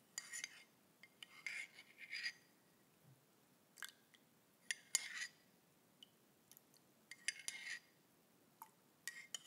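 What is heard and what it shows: A thin stick-like utensil taps and scrapes against a grey ceramic coffee mug with a handle, held close and apparently empty. Quiet, bright clinks and short scratchy bursts come in scattered clusters, each dying away almost at once, with faint silence between them.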